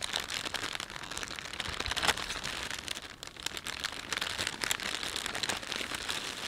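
Fingertips pinch, stretch and rub the film of a thin, empty plastic shopping bag with a panda print. The result is a steady, bright crinkling and crackling with many quick, overlapping rustles and little low end.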